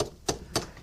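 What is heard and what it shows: Tongs tap a freshly poured aluminium alloy casting for a small CNC lathe gang tooling block three times to check whether it has solidified enough to remove. Each tap gives a short, dull knock that dies away almost at once, meaning the casting is not yet solid enough.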